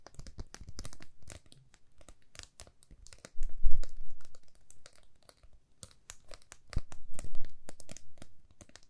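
A flat, thin, solid laser-cut plywood heart with a cut-out swirl pattern, palm-sized and held in both hands, is tapped and scratched quickly with long manicured nails. Dense, dry clicks and crackly scratching rustle on throughout, with short ring and a low thump underneath. The sound swells into louder bursts in the middle and again near the end.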